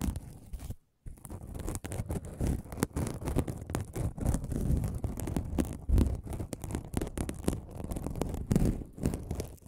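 A flat aluminum mesh scrubbing sponge is held close to the microphone and scratched and crinkled with fingertips. The result is a dense, continuous run of crackling, rustling scratches, heavy in low-end rumble, with a brief pause of silence near the start.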